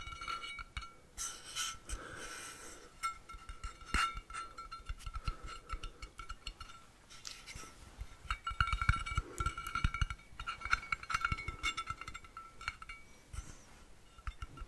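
A blue-painted stainless steel water bottle is held upright in both hands while its hollow metal sides are tapped with fingertips and nails. The taps make quick, light metallic clinks with a steady ringing tone near 1.3 kHz and bright overtones. They come in irregular bursts of soft taps and scratchy touches, with louder clusters in the second half.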